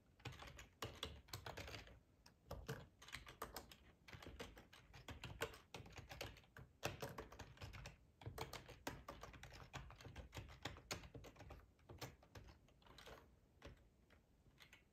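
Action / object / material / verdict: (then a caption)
tap / plastic ergonomic computer keyboard / plastic / none. Fingertips type on the keys of a black plastic, hollow-bodied split ergonomic computer keyboard. The result is a fast, uneven stream of short clicky taps with a hollow low thump under each one. Brief pauses break the typing near 2, 4 and 8 seconds.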